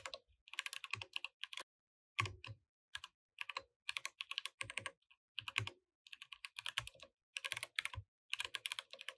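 A compact mechanical keyboard with plastic keycaps is typed on continuously with fingertips, producing bright, dry clicking keystrokes in rapid bursts separated by short pauses. The clacks are crisp and short, with little low end.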